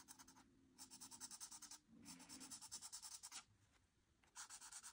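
A felt-tip marker nib is rubbed and scratched back and forth across a flat white paper coloring sheet with printed line art lying on a surface, filling in an orange frame. Quick, bright, crunchy strokes come in three bursts, separated by short, quieter pauses.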